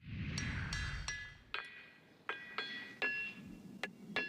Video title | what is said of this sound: Scripps News: Xploration Awesome Planet - Pennsylvania | these enormous rocks have quite the ring to them